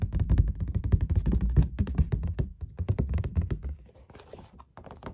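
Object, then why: Painted stretched canvas. Fingertips and long black nails tap, rub and scratch a painted puppy on an oil painting on stretched canvas. The result is a rapid, irregular flurry of dull, deep thunks with almost no ring. Toward the end it thins into quieter, brighter scratching and rubbing.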